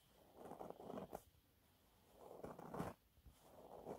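Fingernails scratch a thin, flat, yellow textured cellulose sponge cloth. Soft, dry scratching comes in slow swells, with a few sharper ticks and brief quiet gaps between passes. The sound is quiet, close and muffled, with little high-end brightness.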